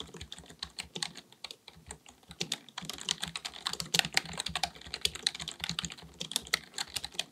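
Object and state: Plastic computer keyboard being typed on.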